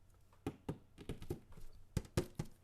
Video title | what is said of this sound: Fights, Floods and Floaters - Curtain Jerks Podcast | it's tin it's like a big cookie tin